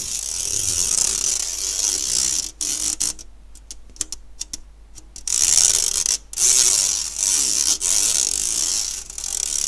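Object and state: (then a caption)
Stainless steel mesh sieve. Fingernails pluck and scratch the wire mesh of an empty, round, fine-mesh stainless steel sieve held by its handle. The result is a bright, hissy, high-pitched scraping rasp. Through the middle it thins out to quieter, scattered ticking plucks before the dense scratching returns.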